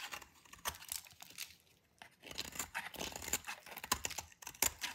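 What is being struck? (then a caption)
Bar of soap scraped with a blade. A metal utility knife blade scrapes a hand-sized solid white bar of dry soap, held in fingers with long dark nails, curling off crunchy shavings onto a pile on the table. The clip is a run of short, dry, crackly scrapes with a bright, crisp texture and almost no low end, separated by brief quiet pauses.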